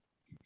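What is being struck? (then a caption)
Charred wood stick. Charred biochar sticks from the inner can of a paint-can stove are dropped, giving a short, dull low knock followed by a bright, glassy high-pitched clink. This glass-like sound, and the way the sticks shatter like glass, shows they are biochar rather than ordinary charcoal.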